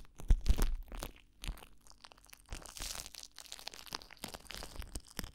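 Crumpled clear plastic cling wrap pressed against a microphone is crinkled and rubbed by fingers. A few loud, deep thumping crackles open the clip, followed by a steady run of softer, dry crinkles and rustles with brief bright snaps, all heavy with low rumble from the close contact.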